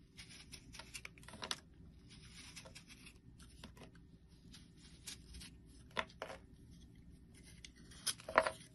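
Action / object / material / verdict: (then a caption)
scrape / small bar of soap shaved with a metal blade / soap / none. A small, solid, round yellow bar of soap with a carved face design is held in the hand and shaved with a metal utility blade. Soft, dry scraping and crisp shaving strokes repeat throughout, with a few sharper, louder cuts near the end.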